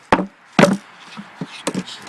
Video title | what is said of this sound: Locust, Does it ever rot? | It sounds like it's hollow, but it's not. You can hear how solid it is still.